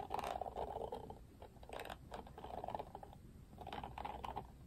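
Fingertips and nails strum across the pink-tipped thin plastic bristles of an oval plastic detangling paddle brush with a black cushion, held up in one hand. The result is quiet bursts of rapid, clicky ticking and scratchy rustling, centered in the mid range with brief brighter flicks.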